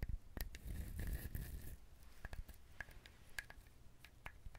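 A whole, hand-sized, brown fibrous dried husked coconut with a hollow-sounding shell is held in both hands close to a binaural microphone, then scratched and tapped with fingernails. Soft scratchy rustling and low rumble fill the first two seconds, followed by quiet, irregular, crisp taps with short bright clicks that die away almost instantly.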